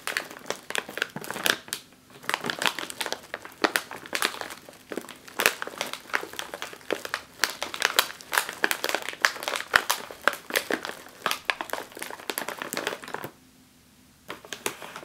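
A hand pats and taps the top of a full, sealed, foil-lined plastic chip bag with its fingertips and long nails. The result is a steady stream of sharp, bright crinkles and clicks with short, dry taps. It pauses briefly near the end before a few more taps.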